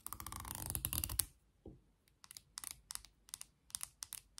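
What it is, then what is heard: Wooden comb, solid. Long nails strum rapidly along the teeth of a light, solid wooden comb with a handle, giving a dense, bright rattle of fast ticks for about a second. After a short pause and a soft low bump, the nails scratch and pluck the teeth in separate, sharp, high clicks that stop quickly.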